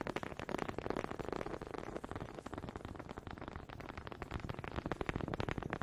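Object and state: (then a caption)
Wooden honey dipper. One small, solid wooden honey dipper is tapped rapidly against another close to the microphone. The result is a dense, uneven stream of short, dry clicks and knocks with a woody low-mid body, each hit dying away almost instantly.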